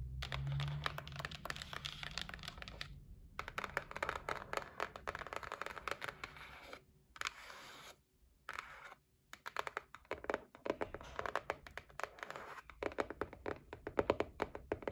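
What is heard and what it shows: Long nails tap rapidly on the lid of a closed white cardboard gift box. The result is dry, clicky taps with a faint scratchy edge, coming in dense bursts separated by brief silences, each tap dying away almost at once.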